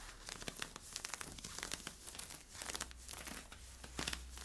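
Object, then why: Polyester-spandex stretch leggings fabric. Nails scratch along the side stripes and hip of worn camo polyester-spandex stretch leggings, making quick, bright, crinkly scratching strokes over a faint steady low hum.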